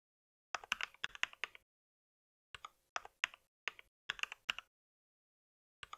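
Fingertips type on a compact white mechanical keyboard with plastic keycaps resting on a pink mat. Crisp, bright plastic clicks come in quick bursts separated by short silent pauses. Each tap is sharp and dies away almost instantly, with no low-end thump.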